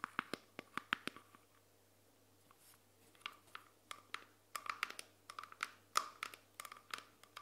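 A small, solid, round clear glass jar lid, held in both hands, is tapped and scratched with long painted nails. Quick, bright clicking taps with a short glassy ring near 1.2 kHz come in clusters, broken by a quiet pause of about two seconds. A faint steady low hum runs underneath throughout.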